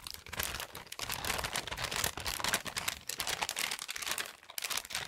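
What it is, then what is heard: Paper-wrapped gift. A small present wrapped in brown patterned kraft gift paper, its contents hidden, is held in both hands close to the mic and crinkled and rubbed with the fingertips. A dense, continuous crinkling and crackling fills the clip, mostly bright and high with little low end. The rustle swells and dips in loudness across the five seconds.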